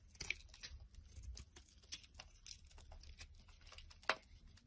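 A utility knife blade shaves curls off a solid white soap bar with a blue outer layer, held in the hand. Quiet, dry, crisp scraping and crinkling strokes follow one another with bright, papery edges, and one sharper, louder scrape comes near the end.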